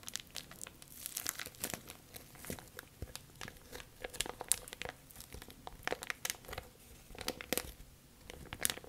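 A thin, clear, empty plastic bag is crinkled and scrunched by both hands with long nails. Dense, bright crackling fills the clip, with sharp crinkles and brief louder scrunches rising over a steady rustle. There is almost no low end.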